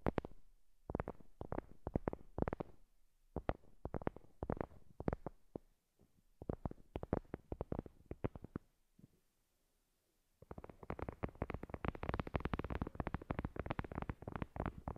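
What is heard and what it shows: Long glossy nails tap and scratch the top of a flat, heart-shaped absorbent paper board coaster, thin and solid, lying on a fluffy cloth. Dull, low, close-up taps come in quick irregular bursts, then a brief near-silent pause follows. The sound resumes as a denser, continuous run of brighter scratching and tapping.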